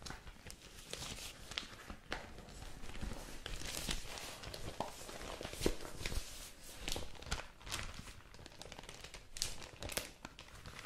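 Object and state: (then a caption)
Thin newspaper paper being crinkled. A thin printed newspaper insert with a pink cover has its pages flipped and crinkled by hands with long nails. Soft, continuous paper rustling is punctuated by sharp, bright crinkles and snaps that rise and fall in short bursts throughout. The overall level stays quiet and close, with brief louder crackles.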